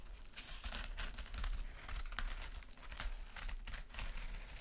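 Long nails scratch rapidly across a small, flat, rectangular gold metallic mesh scrub sponge and squeeze it. The result is a dense, continuous crinkling and scratching texture, with bright crackly bursts over a steady low rumble.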